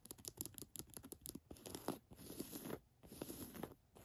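Long nails tap and scratch on the chest pocket and flap of an olive cotton canvas jacket. A rapid run of quiet, dry taps gives way to steady rasping scratches over the fabric, with a low-mid papery body and a faint bright hiss.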